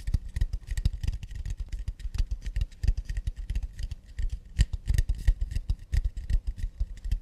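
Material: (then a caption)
Acacia wood. Long nails tap and scratch quickly across the wooden back of a round acacia plate, its underside facing out. The result is a dense, uneven run of short, dry taps with a dull low thump and faint, crisp scratchy clicks on top, each hit dying away almost instantly.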